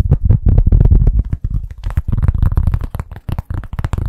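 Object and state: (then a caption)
Cork stand, bassy taps. Fingers tap rapidly on a cork stand, making a quick, uneven run of deep, bassy thuds at about four per second. Each tap is short and dull with almost no ring, centered low around 105 Hz, and some taps in the second half add faint bright clicks.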